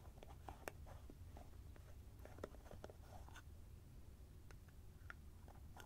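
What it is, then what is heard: Plastic cream jar with screw lid. A small white plastic cosmetic cream jar, likely filled with cream, is held in both hands close to the microphone while short-nailed fingertips twist and unscrew its orange plastic screw lid. The plastic threads rub and give off sharp, short, bright clicks and faint scraping over a quiet, steady low rumble.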